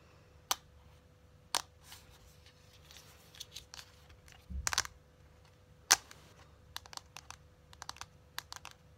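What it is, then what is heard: Cardboard eyeshadow palette tapped with long nails. Long acrylic nails tap and click on the surface of a closed, hand-sized, flat rectangular cardboard eyeshadow palette with a printed cardboard sleeve showing photos. Sharp, bright clicks come in scattered single taps and quick clusters, with soft scratchy rustling between them. A faint steady hum runs underneath throughout.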